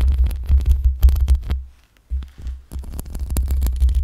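Long pink acrylic nails scratch the metal mesh grille of a black USB microphone, producing deep, booming rumbles and rapid, uneven crackling scrapes. The scratching goes quiet for a moment near the middle, then resumes just as dense and low.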